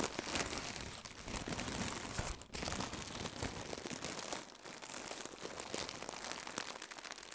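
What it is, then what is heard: Plastic air cushion packaging being crinkled. Fingertips with red nails squeeze and crinkle a hollow, blue plastic air-filled cushion used as packaging. The result is dense, bright crinkling and crackling that runs nearly continuously, with brief quiet dips around 2.5 and 4.6 seconds.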